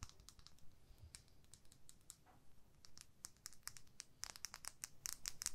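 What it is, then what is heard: Plastic lip gloss tube. A small hollow clear plastic lip gloss tube with pink product and a purple cap is held in the fingertips while long nails tap and scratch along it. The result is a quiet stream of quick, dry, bright clicks and scratchy rasps with almost no ring, growing denser and sharper toward the end.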